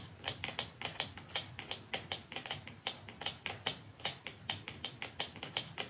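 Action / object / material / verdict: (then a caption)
tap / small cardboard mascara box / cardboard / none. Long nails tap quickly along the top of a small, slim, hollow dark cardboard mascara box lying flat, with a second identical box lying untouched above it. Around thirty short, dry, bright clicks come in an uneven rapid run, each peaking near 3 kHz and dying away almost instantly with very little low end.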